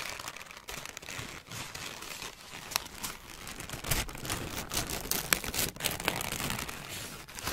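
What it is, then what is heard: Crumpled wrapping paper. A large, crumpled sheet of thin grey-white wrapping paper is squeezed and crinkled in the hands by fingertips with long nails. The result is a continuous, dense, bright crinkling texture, with sharper crackling bursts toward the middle and end of the clip.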